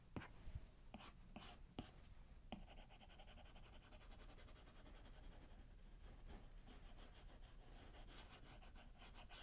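A plastic stylus tip does repeated shading strokes on the solid glass screen of a large iPad tablet, while the other hand rests on its keyboard case. Six sharp taps come in the first two and a half seconds, followed by a steady, soft rubbing and scratching hiss with a bright edge that continues to the end.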